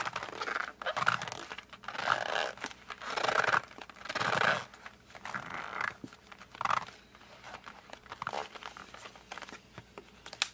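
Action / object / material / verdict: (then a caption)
scrape / cardboard colored pencil box / cardboard / none. Fingertips grip and squeeze a flat cardboard colored pencil box while a hand presses and rubs its surface. Irregular swells of dry crinkling, scratching friction rise and fall, with brief squeaky tones around 1.4 kHz. The bursts grow quieter and more scattered toward the end.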